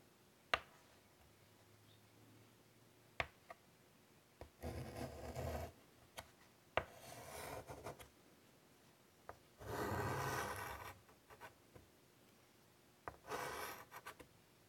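A white chalk stick held in the fingers scratches lines across a large, flat, wood-framed chalkboard. Sharp, brief taps are separated by four longer, raspy scratching strokes with bright, gritty texture and a low rumble from the board. Quiet pauses fall between the marks.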